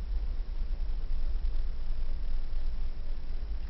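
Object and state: Nothing is struck.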